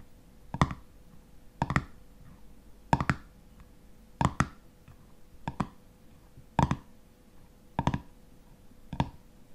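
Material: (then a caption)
Metal. Fingernails tap and scratch on the black metal screw lid of a full glass honey jar. Short, dull taps come in paired bursts about once a second, each with a brief bright click that dies away almost at once. Faint scratching fills the gaps over a steady low hum.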